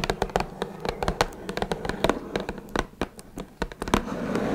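Long red nails tap rapidly and irregularly on the top of a small, closed, hollow blue Twinings cardboard tea box. Each tap is a short, dry click with a hollow low-mid body that dies away almost at once. Quieter scratchy brushing fills the gaps, ending in a soft rustle.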